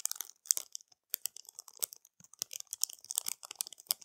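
Long matte nails quickly scratch and tap over a flat, clear plastic packet of pearl-like plastic bead stickers resting on a dark cloth. The result is a quiet, bright stream of crisp crinkles, clicks and scratchy ticks, each very short with almost no low end.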